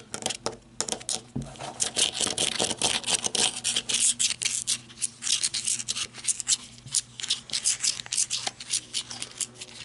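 Long red-painted nails tap and scratch along the ribbed grip of a handheld black matte flashlight, made of plastic or coated metal, with a hollow body and lying on a wooden table. Quick, bright, crisp taps and raspy scrapes come in uneven bursts with almost no low end. Each tap dies away almost instantly.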